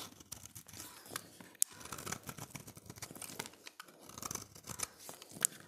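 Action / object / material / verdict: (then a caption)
scrape / bar of soap / soap / none. A utility knife blade scrapes the surface of a solid, dry, oval red bar of soap held in the hand. A quiet, continuous run of crisp, bright scraping and crumbly rasping, dotted with a few sharper high clicks, goes on without pause.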